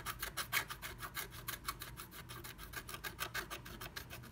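A pointed wooden stick scratches flat black scratch art paper through a moon-shaped cut-out in a blue plastic stencil, revealing red colour underneath. About 23 fast, uneven back-and-forth strokes give a dry, bright rasping sound, each short scrape stopping almost at once. Under the strokes runs a faint low hum.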